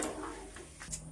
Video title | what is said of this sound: সাবুর স্ন্যাকস রেসিপি খেতে মচমচে সুস্বাদু, #shortvideo #YouTube #viralvideo #cookingfood | আওয়াজটা শুনেছেন কত মচমচে হয়েছে